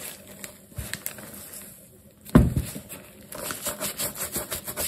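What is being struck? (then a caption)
Wet leather sneaker scrubbed with a bristle brush. A black leather sneaker with metal eyelets, wet with soap lather and held in hand, is scrubbed with a wooden-handled natural bristle brush. Soft, low, wet brushing and rubbing sounds, with a louder scrub burst in the middle, are followed by a run of rhythmic back-and-forth strokes.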